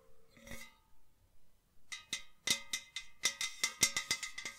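A hollow white enamel metal jug vase, held by the neck, is tapped along its body with long nails. It gives about 14 bright, resonant metallic rings centred near 2.1 kHz, starting soft and spaced out, then coming louder and faster.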